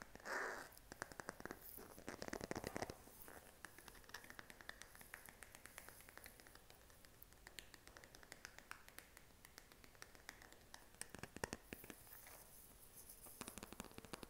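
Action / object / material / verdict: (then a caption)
tap / smartphone in a silicone case / silicone / none. A smartphone in a pink silicone case, held in the hand, is tapped with short fingernails. Quick, dry, soft clicks come in rapid, uneven runs with very little ring, over a faint scratchy hiss, with a louder scraping burst near the start and denser tapping around the middle and near the end.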